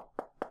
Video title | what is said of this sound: Test du Quechua Phone 5 - par Test-Mobile.fr | creux ça fait pas le même bruit